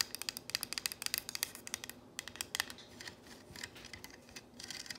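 Long nails tap and trace the letters on a solid painted wooden plank sign reading "If MaMa ain't happy." A quick run of sharp, bright, dry clicks with almost no ring fills the first half. It then gives way to softer, scratchy strokes as the nails drag across the painted wood.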